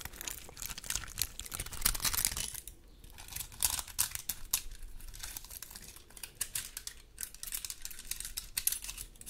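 A large, dry, woody pine cone held in both hands has its scales scratched with long gold metal claw nails. Dense, irregular bursts of bright, dry crackling and crinkling scratches come in quick clusters, with a brief quieter lull partway through.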